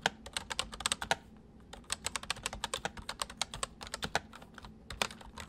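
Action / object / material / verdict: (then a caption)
tap / plastic mechanical keyboard being typed on / plastic / none. Fingertips of both hands type on a white, full-size MSI plastic mechanical keyboard with hollow keys. It makes rapid, bright, clicky keystrokes with very short decay over a faint low hum, with a brief pause early on before the typing resumes in quick bursts.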